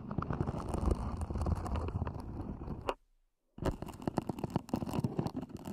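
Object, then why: EVA hard-shell earphone case. Long nails scratch the sides and lid edges of a small, black, zippered, hollow EVA hard-shell earphone case. The result is a dense, crackly, low-heavy scraping with quick ticks. It cuts to near silence for about half a second around the three-second mark, then resumes.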